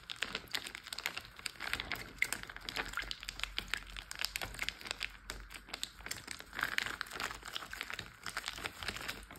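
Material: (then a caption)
Plastic. A large clear plastic Ziploc bag full of water is rubbed, pressed and tapped with a flat hand and fingertips. The result is a steady stream of bright, dense crinkling and small crackles with soft tapping throughout, carrying little low end.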